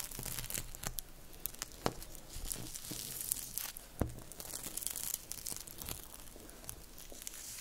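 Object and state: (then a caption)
Plastic cling wrap being crumpled. A loose sheet of thin, clear plastic cling film is crumpled and rubbed between fingertips close to the microphone. The result is continuous crinkling with sharp tearing-like crackles and a bright hiss. Short clicks stand out at irregular points throughout.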